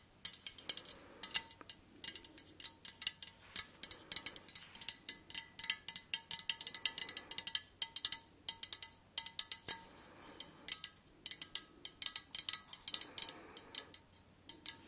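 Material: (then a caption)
Thin metal. Long nails tap and scratch a white-painted, perforated metal lace-pattern cylinder candle holder that is hollow and empty. Quick bursts of bright, sharp metallic clicks and scrapes come in rapid clusters with brief pauses between them. Each click dies away almost at once, with no low rumble underneath.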